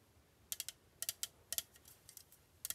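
Long painted fingernails tap and scratch the printed aluminum sides and lid of a small, hollow, sealed Madam Hong Lady Boba bubble tea can held in hand, likely full and unopened. About ten quiet, bright, sharp clicks come in small clusters, each dying away almost at once with almost no low end.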